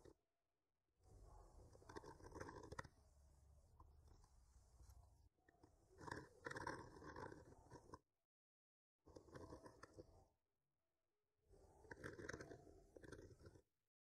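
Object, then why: Painted wooden panel scraped with a wooden skewer. The tip of a wooden skewer with a microphone attached rubs and scratches slowly across a flat, solid painted wooden board. Four passes of soft, crunchy, gritty scraping are heard, separated by short silences, with a low rumble beneath the scratchy midrange.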